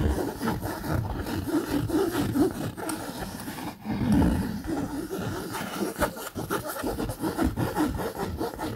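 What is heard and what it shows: Fingernails scratch the surface of a camouflage polyester fabric bag, producing a steady, close, dry scratching and rasping sound. The texture is mostly low and midrange, with a brief pause in the middle before the scratching continues.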